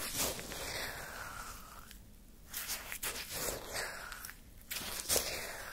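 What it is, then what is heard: Shaved-ice sherbet being scraped. A wooden stick digs and scrapes through frozen, crystalline orange shaved-ice sherbet in a paper cup, then scoops out a lump. Bright, gritty crunching and scraping come in bursts with brief quiet pauses between them.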